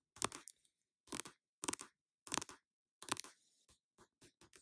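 An orange plastic cosmetic squeeze tube holding a face mask is held in the hand and tapped and scratched with long nails. Short, crisp, bright bursts of scratching and crinkling come in quick clusters, then give way to a few shorter, lighter taps at the end.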